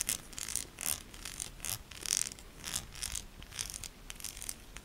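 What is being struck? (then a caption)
Solid bar of soap. A solid pink soap bar with ribbed sides is scratched with long nails, leaving soap powder. The result is a quick run of short, dry, bright scratching strokes with a crisp, papery hiss and very little low end.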